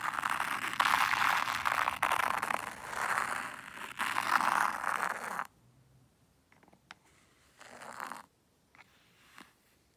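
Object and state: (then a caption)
White sand raked in a zen garden tray. A small wooden rake held in the fingers draws patterns through fine white sand in a black hexagonal zen garden tray, making a dense, steady, gritty scraping hiss centered in the mid-highs with bright grain for about five and a half seconds. The raking then stops, leaving near silence broken by a few brief, soft scrapes and one longer faint swish.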